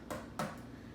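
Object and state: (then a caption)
Hollow-sounding, fully baked soda bread. Two taps on the bottom of an upside-down, freshly baked loaf of Irish soda bread give two soft, hollow knocks with a short ring. The hollow sound shows the bread is cooked through.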